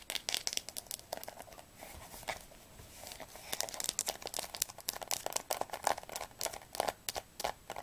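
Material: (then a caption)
Cardboard. Long nails rapidly tap and scratch the glossy spine of a solid blue hardcover Diercke Weltatlas held sideways. The result is a stream of sharp, bright clicks with crisp scratching, easing into a softer scratchy stretch in the middle before the fast tapping picks up again.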